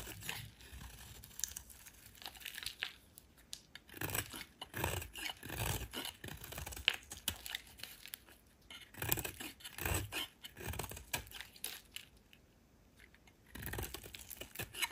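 A solid oval green soap bar is held in hand and carved and scraped with a metal utility knife blade. Soft, crisp scraping and shaving sounds come in clustered bursts with brief pauses, bright and dry with little ring.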